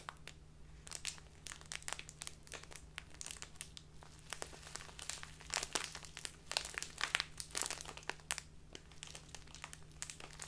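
A small clear plastic bag filled with loose tea is held in both hands and squeezed and rubbed with fingertips and long dark-painted nails. It makes a dense, quiet stream of bright, sharp crinkles and crackles, with louder bursts toward the middle, over a faint steady low hum.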